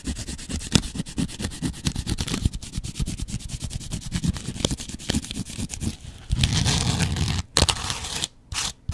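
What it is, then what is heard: Foam kitchen sponge scratched with a razor blade. A double-edge razor blade is scratched across a yellow porous foam kitchen sponge with a dark scouring layer. It makes a rapid series of short, crackly scratching strokes with a low, thuddy body and bright hiss. These are followed by longer, steadier scrapes separated by brief silences near the end.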